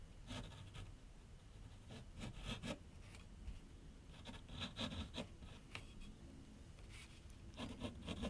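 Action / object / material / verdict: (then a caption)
scrape / graphite pencil on paper sheet over a drawing board / paper / none. A graphite pencil scratches long outline strokes across a large, flat sheet of white paper clipped to a board on an easel. Quiet, dry scratching comes in short bursts of bright, hissy grain over a soft low rumble, with brief pauses between strokes.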